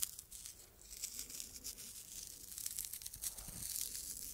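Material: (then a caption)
Fabric. Long red nails scratch the fabric surface of a small, soft, stuffed red tomato-shaped pincushion with a green top. The result is a quiet, continuous, bright scratchy rasp with crinkly, tearing-like texture and little low end.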